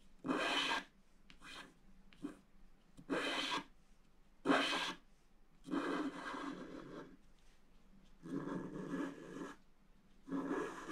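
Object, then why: Wax-coated scratch-art paper scratched with a wooden stylus. A pointed wooden stylus, held in the fingers, scratches a flat black wax-coated scratch-art sheet from a book lying on a table while the other hand holds the sheet down. A series of dry, raspy scraping strokes comes in separate bursts, some short and bright and others longer and grainier, with quiet pauses between them.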